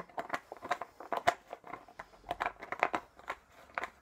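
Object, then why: Plastic drink bottle with plastic screw cap. Fingertips twist and tap the green plastic cap of a small, clear plastic drink bottle with a colourful label, hollow and apparently empty, held in one hand. About seventeen quiet, short plastic clicks and crinkly crackles sound in an irregular string, each with a bright midrange snap and almost no ring.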